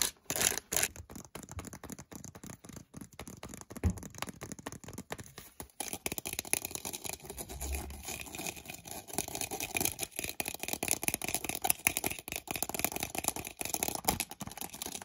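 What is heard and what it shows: Fingertips and nails tap and scratch the printed headband and ear cup cap of medium-size, hollow, white plastic over-ear headphones with mesh ear cups. The result is a dense run of quick, dry clicks and bright scratchy rasping, with a few louder taps early on and busier, denser scratching in the second half.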